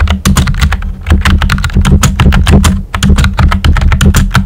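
Fingertips with short nails type quickly on a full-size pink plastic keyboard with a hollow body and round white typewriter-style plastic keycaps. The result is a rapid, uneven stream of short, dry clicks and clacks with a low, steady hum beneath them.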